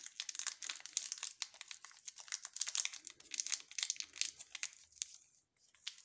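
Gloved fingertips squeeze and rub a small, sealed, full ALBO caramel chocolate bar in a glossy orange plastic film wrapper. The result is a quiet, continuous run of sharp, bright crinkles with almost no low end, pausing briefly near the end before a few last crackles.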